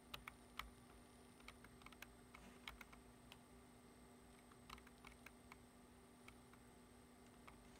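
One hand types steadily with its fingertips on a black plastic computer keyboard resting on a wooden desk. Short, crisp plastic key taps click at an irregular pace, some louder and brighter than others, over a quiet, steady low hum and a faint high tone.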